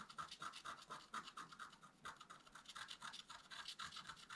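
A wooden stylus scratches across a flat, black-coated scratch art paper card held down by the other hand. Quick, quiet, repeated scratching strokes come at an uneven pace, each a short dry rasp with a bright hissy texture and a focus around 1.3 kHz. There is almost no low end and no ring after each stroke.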